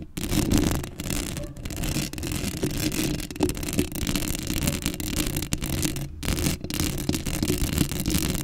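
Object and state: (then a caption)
Metal mesh microphone grille being scratched. Long acrylic nails scratch across a black metal mesh microphone grille, making a dense, continuous scratchy rasp with a heavy low rumble and bright hiss. The scraping runs almost nonstop, with only a few brief pauses where the nails lift off.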